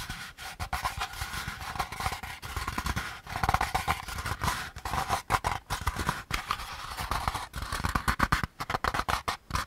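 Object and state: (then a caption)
Molded pulp packaging insert. Fingertips scratch and tap the rim and rough outer surface of a hand-sized, hollow beige molded paper pulp packaging insert held edge-on. The result is a steady run of dry, papery scratching with many quick, soft taps. Each tap lands with a dull low thump and dies away almost at once.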